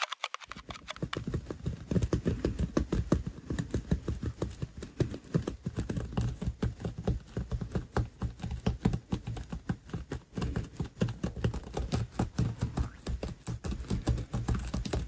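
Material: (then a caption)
Foam beads. A small solid ghost figure made of foam beads sits on a surface while long nails scratch across its beaded surface, squashing it flatter over time. The result is a dense, rapid run of short, dull, low crackling taps with very little brightness.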